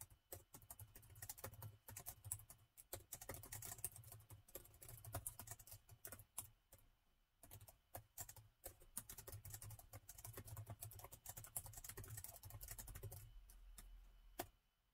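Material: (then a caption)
Plastic. Fast fingertip typing with both hands on a gold laptop's black plastic keys produces a dense stream of quick, bright clicks. The typing pauses briefly near 3 seconds and again around 7 seconds, with a steady low hum beneath, before stopping near the end.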